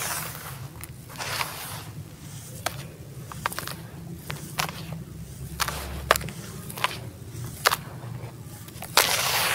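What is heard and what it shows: Both hands drop and rake through a dry, grey, granular sand-cement mix in a teal plastic tub, crushing and sifting the loose crumble. A steady gritty hiss and crunch is broken by sharp, bright crackling snaps. Several louder clicks stand out near the end.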